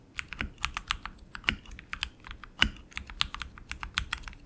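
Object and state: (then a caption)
Mechanical keyboard with plastic keycaps. A tenkeyless RGB mechanical keyboard with tactile switches and plastic keycaps on an aluminum frame is typed on continuously with the fingertips of both hands. Bright, sharp key clicks patter in an uneven stream, a few landing with heavier, deeper thocks.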